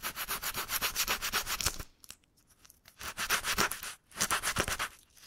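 Sandpaper is rubbed with the fingertips over one patch of a deflated black rubber bicycle inner tube held in a loop, roughening it for patching. Quick, steady, bright scratchy strokes run in bursts with a brief quiet gap partway through before the rubbing resumes.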